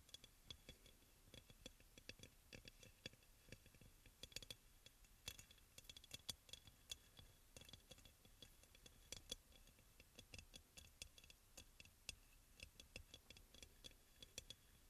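Fingernail tips of both hands tap rapidly on the glazed body of a hollow, white crackle-glazed ceramic aroma oil burner. The result is a quiet, steady run of short, dry clicks with a bright, faint ring near 3.4 kHz that dies away almost instantly.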